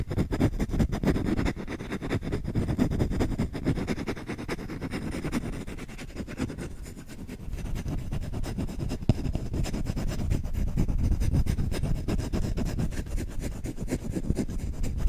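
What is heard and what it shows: Short fingernails and fingertips scratch fast at the bowl of a solid wooden spoon held upright by the mic, making a dense, continuous rasping scratch with deep, rumbly low end and little brightness. The scratching eases briefly around the middle, and one sharper tick stands out just after, before it picks back up to full intensity.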